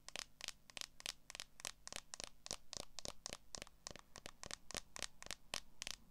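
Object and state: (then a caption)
Smartphone in clear plastic case tapped with nails. Long acrylic nails tap and scratch the back and edges of a smartphone in a transparent plastic case held in both hands. The result is a rapid, steady series of sharp, bright clicks with a plastic tick near 3.1 kHz, each dying away almost instantly over a faint low hum.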